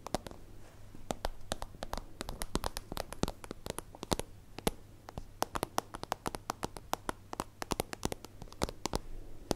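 Long acrylic nails tap rapidly and irregularly on a small, hollow, translucent soft-plastic zip pencil pouch with a holographic iridescent layer, held in one hand. Each tap is a short, dry, crisp click that dies away almost instantly and reaches up into bright highs, over a faint steady low hum.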